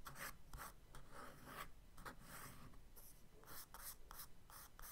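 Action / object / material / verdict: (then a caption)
scrape / charcoal stick on kraft paper sketchbook page / paper / none. A charcoal stick scratches short, curly strokes onto a page of a kraft paper spiral sketchbook resting on a desk. The result is a quiet run of dry, raspy scratching bursts with a bright, papery hiss over a low rumble.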